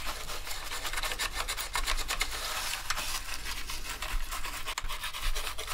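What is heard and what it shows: Two toothbrushes held in gloved hands scrub the keycaps of a dirty black plastic gaming keyboard during a deep clean. A continuous, dry bristly rasping comes in quick back-and-forth strokes, bright and hissy on top with a steady low hum underneath.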